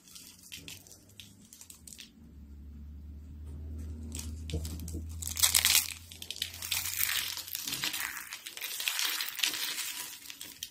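A thin, brittle stack of dry cream-colored soap sheets is bent and crunched between fingertips with short blue nails. The result is a dense run of bright, crisp crinkling and crunching with sharp cracks. Under the first half runs a steady low hum that fades out partway through.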